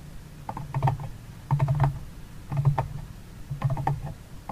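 Fingertips and nails tap and scratch the rim and walls of a medium, empty, open paper-covered cardboard box with a flamingo print and a mint-green interior. The sound comes in four clustered bursts about a second apart, each a run of quick, dull, hollow low taps with short clicky scrapes on top, and each tap dies away almost at once.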